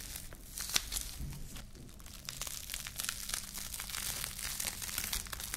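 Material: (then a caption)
Plastic film. A small loose ball of thin clear plastic cling film is held in both hands, crumpled, squeezed and rubbed between the fingertips and long nails. It gives a steady, bright crinkling and crackling, with a sharper crackle near the start.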